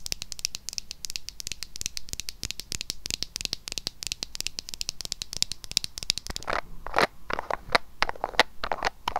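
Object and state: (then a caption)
Plastic cosmetic jar. Long nails rapidly tap and scratch a small, hollow pink-red plastic lip mask jar with its pink lid closed, held in the hand. For the first six seconds or so, the sound is a dense, fast run of bright, dry clicks and scratchy crackles. It then shifts to slower, louder, hollow taps with more midrange body, each dying away almost instantly.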